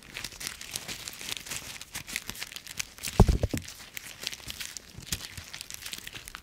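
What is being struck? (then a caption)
Autumn leaves. Dry brown autumn leaves resting in an open palm are crushed in a fist and rubbed between the fingers. They make a steady stream of bright, dry crackling and crumpling, with a louder crunching burst about halfway through.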